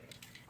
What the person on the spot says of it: you hear that there's like a metal ball that's inside of there